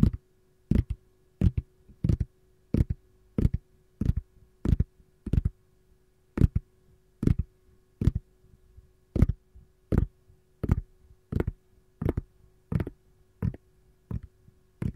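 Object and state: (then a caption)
Silicone ice cube tray, hollow and empty. Long gold nails tap and scratch the smooth, domed back of a hollow, empty green silicone ice cube tray. The result is a steady run of short, dull, muffled taps, mostly low in tone, each dying away almost instantly, at roughly one or two per second. A faint steady hum sits underneath.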